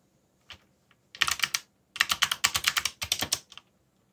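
Fast fingertip typing on a backlit plastic mechanical keyboard with dark plastic keycaps produces bright, crisp clacks with almost no low end. A few scattered keystrokes lead into three rapid bursts of clicks, each dying away almost instantly.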